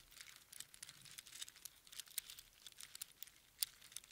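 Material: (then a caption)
Shell. A strand of small hollow spiral seashells on string is held close in cupped hands and squeezed and shaken. It makes a quiet, steady stream of bright, crinkly clicks and rattles, with a few sharper ticks standing out and almost no low end.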